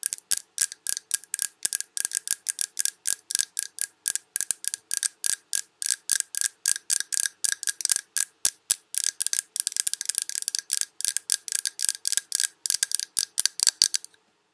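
Long red nails tap quickly and steadily on a large glass Yankee Candle jar full of wax with a paper label, ending on a finger resting on the label. Each tap is a short, bright click with no low end and almost no ring, over a faint steady tone near 1.6 kHz. The taps crowd closer together in the middle before stopping just before the end.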